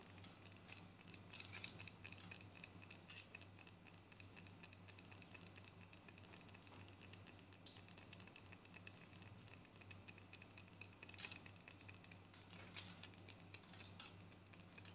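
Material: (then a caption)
Glass. Long nails tap rapidly and lightly on a pink-striped rectangular glass perfume bottle with a pink cap, held close. The result is a quiet, continuous stream of bright, crisp clicks with a faint high glassy ring that dies almost instantly, over a steady low hum.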